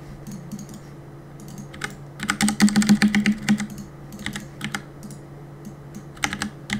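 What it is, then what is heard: Plastic mechanical keyboard. Fingertips tap the plastic keycaps of a black mechanical keyboard, producing bright, clicky keystrokes over a steady low hum. Scattered taps build into a fast, dense burst of typing in the middle, then thin out to occasional keystrokes with a last quick cluster near the end.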